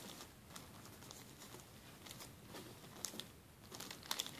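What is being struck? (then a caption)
Thin plastic zip-lock bag. A flat, empty, clear plastic zip-lock bag lying on a table is rubbed and scratched with fingertips and short nails. The result is a quiet, steady, bright crinkling and scratching texture, with a few sharper crackles standing out near the end.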